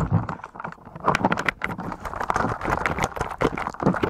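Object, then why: Plastic keyboard covered in slime. Fingertips type on a full-size white and grey mechanical keyboard with plastic keycaps that is blanketed in a thick layer of translucent blue slime, pressing through the slime onto the keys. A rapid, uneven stream of wet, sticky squelches mixes with dull key clicks, each press short and dry with little ring.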